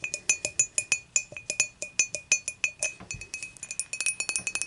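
Long matte nails tap and scratch the side of an empty, clear dimpled glass beer mug with a handle, resting tilted on a white cloth. About thirty quick, bright clinks come in an uneven rhythm, each with a short, high glassy ring.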